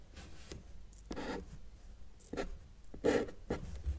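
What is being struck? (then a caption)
Felt-tip marker on a paper sheet. A felt-tip marker held in the fingers draws mountains on a flat white sheet of paper resting on a table. Short, soft scratching strokes come in separate bursts, some slightly louder than others, over a faint low background rumble.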